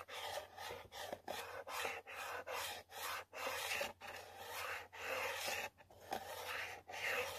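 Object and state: Cardboard box scratched with a fingernail.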